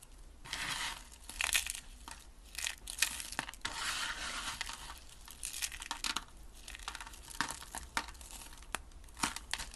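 A heap of pink dry soap flakes on a table, brittle solid soap, is pressed and crushed by hand and fingertips. Dry, bright crunching and crackling comes in bursts, with sharp snaps over brittle rustling, mostly high-pitched and with little low end.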